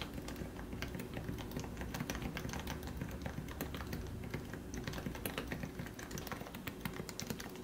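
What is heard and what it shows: Both hands type steadily with their fingertips on a plastic, lubricated Leopold FC660C Topre keyboard with 45 g switches. The result is a continuous stream of soft, muted, low-heavy keystroke thocks, with faint brighter clicks on top.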